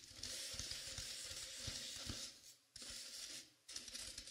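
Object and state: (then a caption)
Velvet-covered dummy head being scratched. Long painted pink nails and fingertips scratch and rub the velvet-like flocked fabric of a life-size dark navy dummy head, with both hands holding its sides. The result is a close, bright, dry scratching hiss with soft low thumps, broken by two brief near-silent pauses before the scratching starts again.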